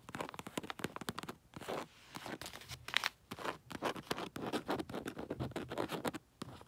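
Long nails scratch across a round snowman paper sticker tag and the glossy red wrapping paper of a wrapped gift. The result is a run of quick, dry, bright scratching strokes with crisp papery rustle. The strokes come in short bursts separated by brief pauses.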